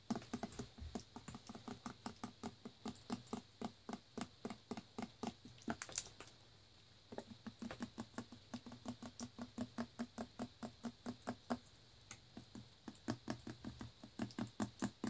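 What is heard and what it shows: Long fingernails tap quickly on the paper label and shoulder of a full, clear plastic Naked Green Machine juice bottle with a blue cap, held in the hand. The sound is runs of crisp, bright clicks with brief pauses between bursts, each tap dying away almost instantly.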